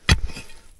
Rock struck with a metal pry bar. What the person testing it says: se oye un sonido hueco cuando golpeas una palanca